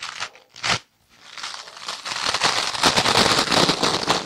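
A palm-sized, soft, porous rectangular kitchen sponge of yellow foam with a green abrasive scouring layer is held in the hands, squeezed and scratched with long dark-painted nails. A couple of short crunchy bursts are followed by a brief silence. Then comes a building, dense stretch of bright, crinkling scrubbing that stays loud to the end.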